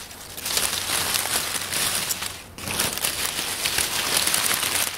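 Bare hands pat and rustle a loose pile of dry brown oak leaves on a wooden table, using fingers and palms. The sound is a steady, bright, crackling crinkle with little low end; it briefly drops off about halfway through before the rustling picks up again.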